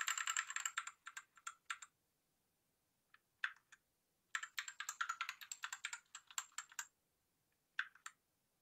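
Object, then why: Plastic mechanical keyboard. A white Rexus Daiva South Facing 65% 68-key gaming mechanical keyboard with a plastic case and RGB lighting has its keys pressed rapidly with the fingertips of one hand. Bursts of fast, clacky key presses with a bright edge come in quick irregular runs, separated by short pauses and a few isolated taps. Each press is a short, dry click with almost no ring.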